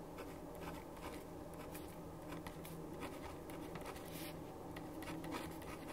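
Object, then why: Ballpoint pen on a paper sheet. A black ballpoint pen held in the right hand writes on a white paper sheet lying flat on a wooden desk, its tip scratching across the paper. Quiet, continuous scratching with brief bright strokes sits over a steady low hum throughout.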